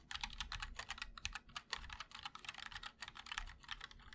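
A 60% mechanical keyboard, the MOD-L with linear switches, in a black aluminum case with white and black ABS keycaps, is typed on continuously with the fingertips of both hands. A rapid, uneven stream of short, bright clacks with a thin low thock underneath fills the clip, each keystroke dying away almost instantly.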